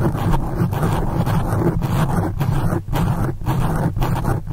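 Long acrylic nail tips from both hands scratch quickly across the top and sides of a black foam windscreen on a condenser microphone. The result is a dense, continuous rumbling scratch, heavy in the low end with little brightness. Its level dips briefly at a few points as the strokes change.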